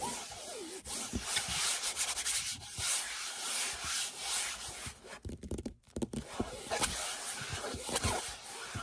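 Fingertips and nails rub and scratch back and forth over a large printed canvas picture lying flat. The result is a steady, dry, hissy scraping, mostly bright and high-pitched, with small taps and scuffs throughout and a brief near-silent pause just before the sixth second.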